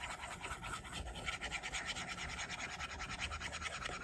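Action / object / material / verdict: scrape / plastic stylus on glass tablet screen / glass / none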